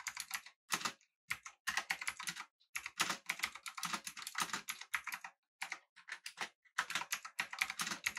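Both hands type with their fingertips on a full-size, backlit, typewriter-style mechanical keyboard with an aluminum body and round plastic keycaps. Rapid, bright, clicky keystrokes come in quick bursts separated by short pauses, each click dry and brief.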